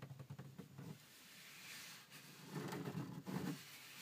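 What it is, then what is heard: Textured plastic car dashboard. Fingertips and nails scratch, rub and tap across the wide, dark, grained plastic dashboard top of a Mini Cooper. Soft, quick scrapes and light taps give way to a steady, hissy rubbing, then louder scratchy strokes with a dull low body.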